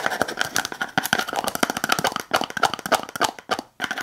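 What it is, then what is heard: Plastic slime container tapped with nails. Long acrylic nails tap and scratch the lid and rim of a small clear plastic tub with a lid, full of blue slime. The result is a fast, irregular run of sharp, dry clicks with brief scraping between them, bright and quickly damped with almost no low end.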